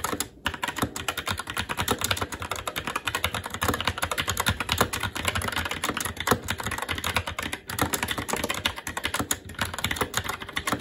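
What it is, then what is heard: Plastic mechanical keyboard. Continuous fast typing with the fingertips of both hands on a SteelSeries Apex 7 TKL mechanical keyboard, which has plastic keycaps on a metal top plate and Red linear switches. The result is a dense, steady stream of short, crisp, bright clacks that die away quickly, with a few brief pauses between bursts.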